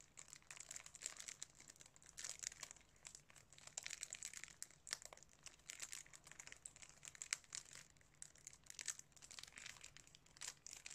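A sealed DVD case in clear cellophane wrap, held up in both hands, has fingertips pressing and rubbing the wrap. This makes a steady stream of bright, crisp crinkles in quick bursts with soft pauses for about 11 seconds.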